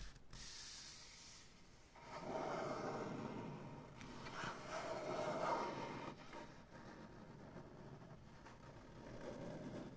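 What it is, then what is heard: Maple butcher block tabletop. Flat fingers and nails rub and scratch slowly across a solid, light maple butcher block tabletop. A soft, bright hiss opens the clip, then a fuller, louder rasping rub swells from about 2 to 6 seconds, eases off, and builds again near the end.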